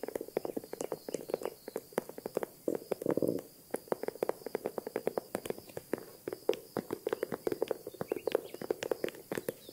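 Long nails tap and scratch the handle and body of a small green faux-croc leather handbag with a crocodile-embossed surface. Dozens of quick, dry, clicky taps come in an irregular patter, with a short scratchy rustle around the three-second mark. Each tap stops almost instantly, with no ring.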